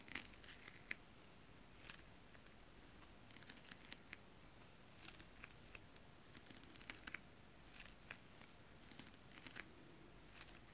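Long nails tap and scratch with both hands across flat holographic mermaid scale-printed fabric. Quiet, brief, bright ticks and light scratchy swishes come in scattered clusters over a low, steady background rumble, each sound dying away almost instantly.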